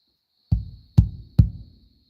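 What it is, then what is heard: Water tank, empty section sounds hollow. Three hollow, booming hits on the empty upper section of a farm water tank, struck to gauge how much water is inside. Each hit is a deep, resonant low thump around 100 Hz that fades within about a third of a second. The hollow tone shows this part of the tank is empty, with the water level about four rungs from the top.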